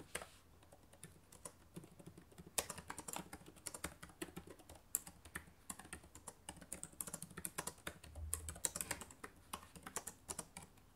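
Fingertips with long nails type rapidly on the plastic keys of a black laptop keyboard. It makes a quiet, steady patter of quick, bright clicks and taps, each dying away instantly, with a few louder strikes scattered through the run.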